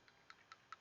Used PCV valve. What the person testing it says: you can hear as i shake it you can hear it rattling but it's very sluggish